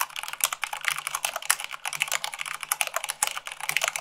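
Fingertips with long acrylic nails type fast, at about 98 words per minute, on a full-size mechanical keyboard with white plastic keycaps on a black base. A rapid, steady stream of short, bright, crisp clicks and taps follows, with each keystroke dying away almost at once and little low end.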